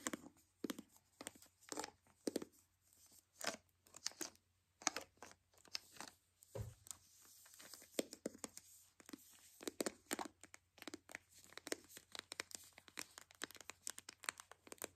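A white hollow plastic toy capsule ball is gripped while long nails scratch along its taped seams. The result is a rapid, irregular series of dry, bright scratching and tearing bursts with very short decay, over a faint steady low hum.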